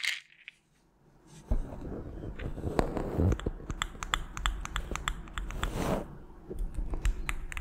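A small white plastic melatonin bottle with a purple cap, partly full of tablets, is shaken and tapped with long nails. After a brief quiet start, a steady rattle of tablets begins, cut through by sharp, bright clicks that stop almost instantly, over a soft low rumble.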